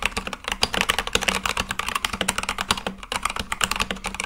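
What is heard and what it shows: Fingertips type continuously and fast on a full-size Akko mechanical keyboard with white and light-blue plastic keycaps on a black case. The result is a rapid run of about 29 sharp, bright clacks with very short decay and little low end.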